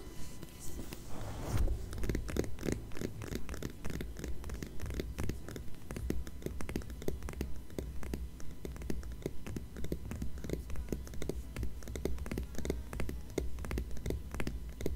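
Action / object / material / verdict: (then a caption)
scrape / glossy paper magazine cover / paper / none. Long manicured nails of both hands scratch and tap the glossy paper cover of a thin, flat Departures magazine lying closed on a fleece blanket. Quick, crisp clicks and scratchy strokes come in a steady but loose patter throughout, with a low, soft thumpy body under short, dry taps.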